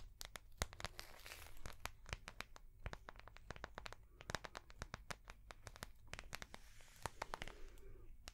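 A small ring-binder notebook with a translucent soft plastic cover and metal rings is held in the hands and tapped with long fingernails on the plastic cover. Many rapid, sharp, clicky taps sound, with bright crinkling rustles of the soft plastic between them over a faint low hum.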